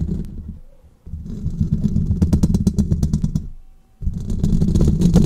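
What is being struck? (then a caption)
Metal wire-mesh microphone grille. Fingernails on both hands tap and scratch the hollow metal wire-mesh grille of a large silver condenser microphone. The result is a rapid, uneven flurry of close, bass-heavy thumps and clicks with bright ticks. The flurry breaks off twice into near silence before the tapping resumes.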